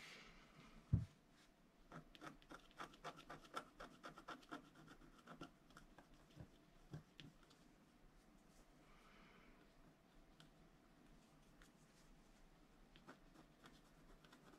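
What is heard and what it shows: A flat scratch art sheet of black-coated paper board, held down by one hand, is scratched with a wooden stylus in small strokes into the black coating. After a single low thump near the start, a quick run of short, dry scratching strokes follows, then thins out into sparse, faint scratches over a quiet low background hum.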